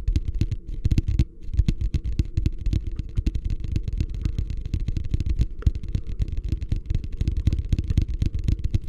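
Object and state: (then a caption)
Empty plastic wastebasket. Fingertips tap rapidly on the bottom and sides of a medium beige plastic hotel wastebasket, hollow and empty, held upside down in both hands. The taps form a steady stream of short, dull, hollow thuds, deep and low-pitched with almost no ring, continuing for the whole clip.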